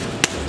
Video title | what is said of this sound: Fremo Bread Demo | it has a nice hollow sound to it